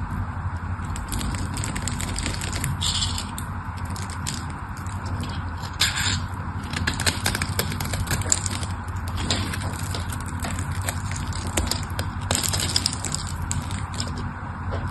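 A solid pink bar of soap is held in the hand while a craft knife carves and scrapes cubes and flakes off its edge. Dense, crisp scraping and crackling is heard, with many short, bright clicks and cracks over a steady low rumble.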